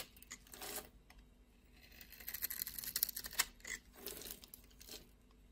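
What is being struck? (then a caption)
Bar of soap. A blade shaves and scrapes the surface of a solid blue and white striped bar of soap held in the palm. Quiet, bright, dry scraping and crinkly rasps come in short bursts, with sharp crackling ticks in the middle and little low end.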